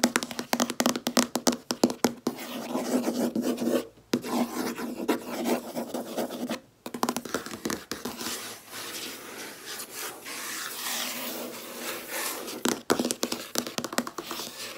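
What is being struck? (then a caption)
Laminate desk top. Long red nails tap and scratch on a large, solid, flat white laminate desk top. Rapid clicking taps open the clip, then give way to steady, rasping scratches with brief pauses. Sharp taps return near the end.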